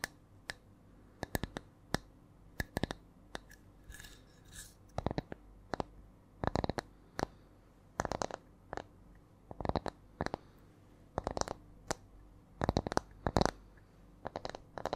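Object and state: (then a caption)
Round wooden disc. A solid, round wooden disc with ring grain is held in both hands and tapped and scratched with long nails. About 45 short, dry taps come singly and in quick clusters with a shifting rhythm, each dying away almost at once. Between them are soft scratching sounds over a quiet background.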